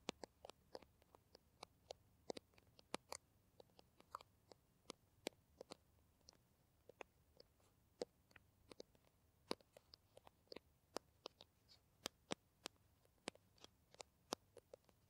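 Long nails tap and scratch along the printed body of a green plastic Kamill Classic hand cream tube, held horizontally and apparently filled. Dozens of sharp, dry clicks with bright tops and a light midrange body sound irregularly over a quiet background. Each one stops almost instantly with no ring.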